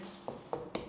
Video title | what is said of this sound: Comment dénicher un bien rentable ? Visite en live | si je tape et que ça sonne creux, c'est que derrière mon torchi, il tient pas